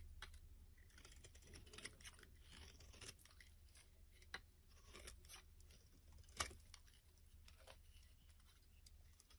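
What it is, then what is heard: Soap bar being scraped. A black-handled blade scrapes a solid, hand-sized, pale yellow opaque soap bar, curling off shavings. The quiet, steady scraping has a dry, crackly, bright texture over a low background hum, with a few sharper clicks standing out.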